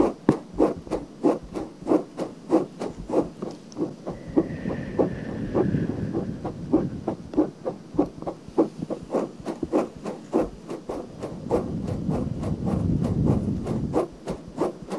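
Long nails rub and scratch the surface of a pale pink silicone binaural microphone ear. About 29 short, dry scratching strokes come in a loose, uneven rhythm, roughly 97 a minute. Softer continuous rubbing fills the gaps around the middle and near the end.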